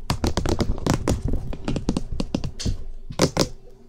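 Fingertips and nails tap rapidly on the top surface of a hollow cream plastic SR3D binaural microphone housing, making a quick, typing-like patter. Each tap is a short, dry click with a hollow low thump beneath a bright tick, and the taps die away almost instantly. The rhythm thins out near the end before two last firm taps.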